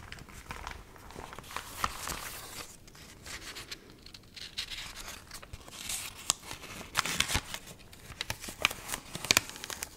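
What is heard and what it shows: Dried, water-wrinkled magazine pages are held up and handled with long nails, bent and crinkled. A dense, bright crinkling and crackling runs throughout, with sharp snaps standing out in the second half.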